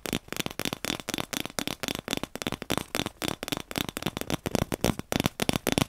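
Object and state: Cardboard paper tube.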